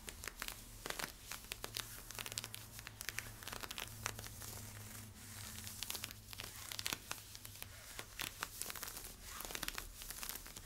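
Fingernails scratch along the side stripes and hip of worn camo polyester-spandex stretch leggings, making a steady run of quick, dry, bright scratching strokes with crinkly, tearing-like texture. Under the scratches sits a faint low hum.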